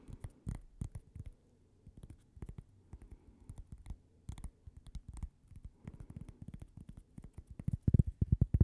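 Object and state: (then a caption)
Cork coaster. A thin, flat, solid cork coaster shaped like a slice of toast and bearing a logo is held by the microphone and tapped and scratched with fingernails. Quick, dull, low taps come in uneven clusters with soft scratching between them, growing louder toward the end.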